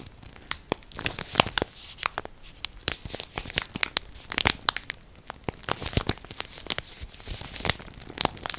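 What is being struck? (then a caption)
Plastic bread bag. A full orange Morato plastic bread bag, held close to the ear, is scratched and squeezed with long nails. It makes strong, bright crinkling in a rapid run of sharp, crackly bursts that stop almost instantly, with little low end.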